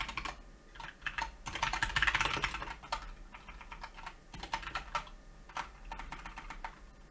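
Both hands type with fingertips on a solid Keychron K2 mechanical keyboard with brown switches, grey and black plastic keycaps and a red escape key, resting on a white desk. Rapid, uneven clacking taps with short bright clicks run throughout, swelling into a denser, louder burst around the middle before settling back into steady typing.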